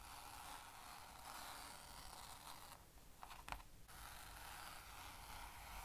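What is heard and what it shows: Fingertips and nails rub and scratch across a flat blue plastic easel lid with a grey soft fabric panel, lying empty on a table, while the palm presses flat on it. A steady, bright, scratchy rustle with a low rumble underneath runs throughout. It briefly quiets near the middle, where a few sharp clicks from the plastic rim stand out before the rubbing resumes.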